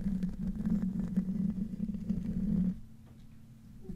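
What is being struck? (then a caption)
Metal mesh microphone grille. Fingertips and nails of both hands scratch the hollow metal mesh grille of a silver microphone in a different room, making a dense, low, rumbly scratching centered around 180–200 Hz with faint brighter clicks. The scratching stops after about 2.7 seconds, leaving a quieter low hum and faint rustles.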